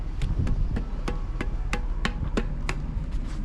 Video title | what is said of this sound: Found A Lot of These! - Trash Picking Ep. 1289 | Yeah, sounds like metal.